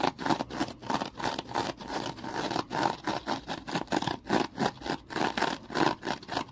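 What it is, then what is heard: Foam kitchen sponge being scratched. A small rectangular foam kitchen sponge is gripped in the hand, squeezed and scratched with the fingers. The result is a quick, uneven series of dry, rough scratching bursts, centred in the mid range with a bright, hissy top and almost no low end.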